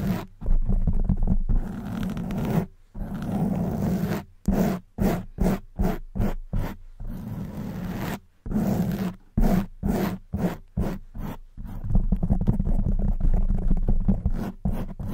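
Long white nails scratch the front of a soft black foam windscreen on a silver condenser microphone. The result is a deep, muffled, rumbling scrape with almost no brightness, alternating between long continuous rubbing and quick, separated strokes.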